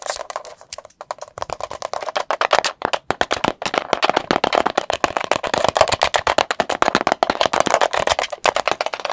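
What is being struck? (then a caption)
Plastic supplement tub. Long pointed acrylic nails tap fast on the lid and sides of a medium green and white plastic tub of chlorella powder with a lid, apparently closed and filled, held near the mic. The result is a rapid, nearly continuous stream of sharp, dry plastic clicks with a hollow midrange tone, almost no low end, and very short decay. A few brief pauses break the stream early on.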